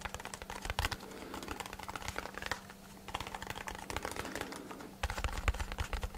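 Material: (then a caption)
Cardboard. A small, hollow brown kraft cardboard box is held in both hands and tapped rapidly with fingertips and short nails. The taps make quick, dry, clicky patters with almost no ring, over a steady low hum. They thin out in short lulls and turn louder and denser near the end.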